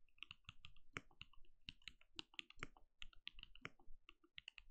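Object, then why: Plastic mechanical keyboard. A compact backlit mechanical keyboard with plastic keycaps and a translucent glowing case is typed on rapidly with the fingertips of both hands. The quick key taps each give a low thock and a bright click, ending sharply with almost no ring.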